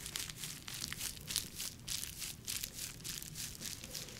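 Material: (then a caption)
Plastic. A clear, soft, bubble-textured plastic packaging sleeve, hand-sized and empty, is crinkled, squeezed and scratched with long nails. Dense, bright crackling and scratchy rustles come in uneven bursts over a faint low background rumble.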